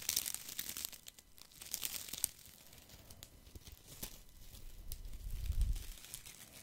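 A handful of thin wooden sticks is held in one hand while fingers scratch them and rattle them together close to the mic. It sounds like dry, crinkly scratching and scattered sharp clicks with bright hiss at the start, then a soft, low rumbling swell near the end.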